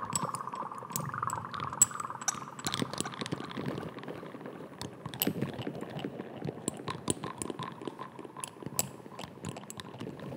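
A small amber glass dropper bottle with a white cap is held close to the microphone while fingernails tap and scratch across the cap and the glass. Many quick, crisp taps and bright clinks mix with soft scratching over a faint steady tone throughout.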